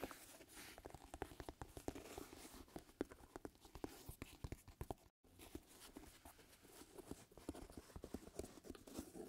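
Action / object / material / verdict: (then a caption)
scrape / leather lace-up shoe / leather / none. Fingertips and nails scratch and rub the leather upper of a hollow, empty black leather lace-up shoe with dried glue streaks on its side, held up by hand. Dense, quick scratchy taps and rustles crackle over a low murmur of friction, with a brief silence just past the midpoint before the scratching resumes.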